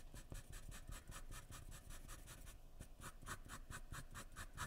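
A graphite pencil held in the fingers scratches and strokes across white drawing paper lying flat on a wooden surface while drawing an eye. Short, rhythmic strokes follow one another in quick succession, each giving a soft, dry scratch with a bright, airy hiss over a dull low rubbing. The overall sound stays quiet and steady throughout.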